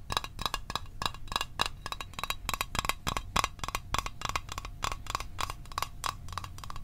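Fingernails tap rapidly on a small, hollow, closed blue Altoids metal tin held in the hands, making around thirty quick, uneven clicks over about seven seconds. Each tap is a sharp, bright tick with a faint metallic ping near 1.1 kHz that dies almost at once, over a soft low rumble.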